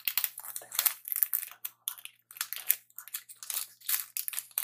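Fingertips crinkle and squeeze a Twix candy bar's metallic plastic wrapper held up close. Quiet, bright, crackling rustles come in rapid irregular bursts with almost no low end, each crackle stopping short with no ring.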